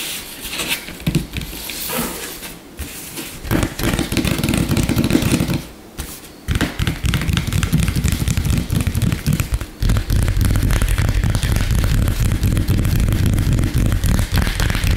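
Fingertips and short nails of both hands rapidly and aggressively tap and scratch a flat, solid, light-colored wooden tabletop. Dense, low thudding taps mix with dry scraping, pausing briefly near the six-second mark. From about ten seconds on, the sound becomes a steady, continuous barrage.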